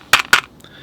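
A brush taps twice on a hard plastic water container, giving two sharp, bright clacks followed by a faint tick. The tapping is noticeably noisy, much louder than on a quiet rubberized water bucket.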